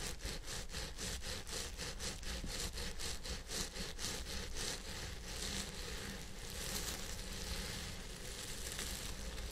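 Fingertips and nails scratch and rub the fibers at the crown of a purple synthetic wig on a head form. Quick, rhythmic, bright scratching strokes fill the first half, then ease into a softer, steadier rustling rub. A constant low hum sits underneath throughout.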